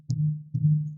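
A heavy tire thumper strikes a rubber truck tire twice, giving two dull, low thuds pitched around 150 Hz that each ring for about a quarter second. The hammer bounces and sounds the same on every tire, so the sound does not reveal which tire is low.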